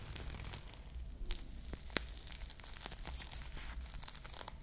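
A bead-coated foam squishy ice cream bar with plastic bead sprinkles is held close to the mic and squeezed while long nails scratch across the beads. The result is a dense, crinkly rustle with quick bright clicks and scratches over a soft low rumble, with a couple of sharper snaps standing out.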